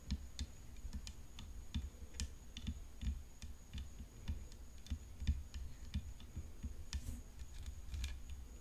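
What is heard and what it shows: Long nails tap along the frame and throat of a hollow composite tennis racket decorated with rhinestones, resting on black cloth. A steady run of quick, soft, clicky taps is heard, each with a dull low body and a brief bright tick that dies away almost instantly, over a faint constant high whine.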